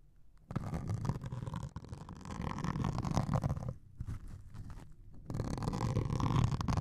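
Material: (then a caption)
Melamine foam. A metal needle scrapes and pokes a white melamine foam sponge with a grey scouring layer held over microphones. It makes a dense, low, rumbling scratch in three sustained bursts separated by brief pauses, with little high-end content.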